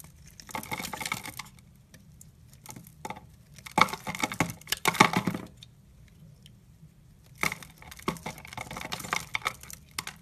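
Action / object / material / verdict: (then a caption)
scrape / bar of soap / soap / none. A utility knife blade shaves and scrapes curls off the surface of a solid brown-mauve rectangular bar of soap held in the hand, making repeated scraping cuts. Each stroke is a bright, dry, crackly rasp that stops abruptly with almost no ring. The strokes come in bursts separated by near-silent pauses.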